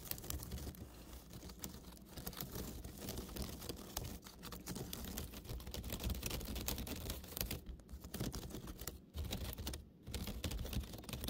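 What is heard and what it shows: A woven basket is tapped and scratched right up close, making a dense, fast run of dry clicks and crackly scratching over a steady low hum. Brief pauses break the activity near the end before it starts again.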